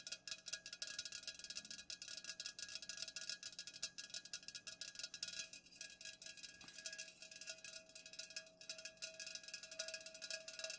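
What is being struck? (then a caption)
Aluminum drink can. Long nails rapidly tap the sides of an unopened, full Pepsi aluminum can standing upright. The result is a quiet, continuous stream of crisp, bright clicks and ticks with very short ring and almost no low end.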